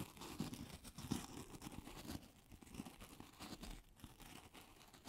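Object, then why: Polystyrene foam ball. A solid, hand-sized white polystyrene foam ball is held in both hands and scratched and tapped with long acrylic nails. The result is quiet, dry, squeaky rasping with soft, irregular taps and crinkly textures, and the sound dies away quickly after each touch.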